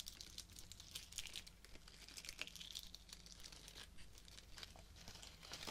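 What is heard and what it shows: Fingertips and nails rub, crinkle and scratch the fabric petals and plastic leaves of a pink artificial rose bouquet with plastic stems. A dense run of quiet, bright crinkling and scratchy rustles continues throughout over a low steady hum.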